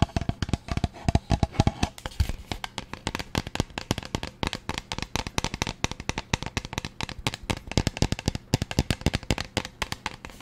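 Fingernails rapidly tap and scratch a teal plastic pump bottle with a paper label, making a steady stream of short, dry clicks. Each tap has a soft, low thump with a bright tick on top and dies away almost at once. There are a few brief bursts of faster tapping early on.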